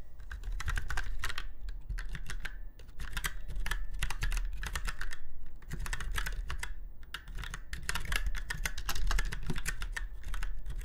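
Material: Plastic.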